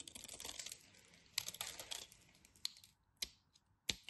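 A utility knife carves into a solid orange bar of soap, scraping and cutting as chunks break off. Quiet, bright, crisp scraping rasps fill the first seconds, followed by several sharp, dry snaps separated by near silence.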